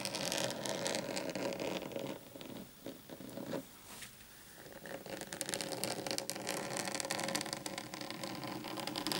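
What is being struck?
Flat desk mat.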